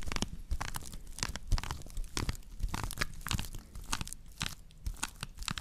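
Long nails on both hands scratch the base of a woven natural-fiber straw plate, which is later tilted to show its rim. The result is a dense run of dry, crunchy scratching bursts with bright, crackly edges over soft low thumps.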